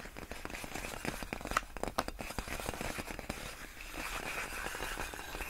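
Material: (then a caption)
Plastic film. Long nails tap and scratch along the hollow, air-filled tubes of large clear inflated plastic air-column packaging wrap. The result is a dense, continuous run of crinkly, crackling taps and scrapes, with a few sharper, louder taps near the middle. Each tap is dry and cuts off almost at once.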